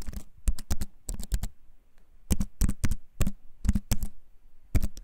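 Fingertips tap the keys of a compact wooden-framed computer keyboard held in both hands, typing in quick bursts. Each press is a short dry click with a soft low thump beneath it and a bright tick on top, dying away almost at once.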